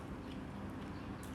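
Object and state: Nothing is struck.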